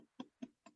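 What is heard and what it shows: Three knocks on a prototype bicycle-helmet shell made of fungus mycelium grown on straw, a solid, very light material meant to replace styrofoam as the shock absorber. Each knock gives a short, dry, hollow tap centered low around 250 Hz, dying away almost at once with no ring.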